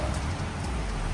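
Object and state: Nothing is struck.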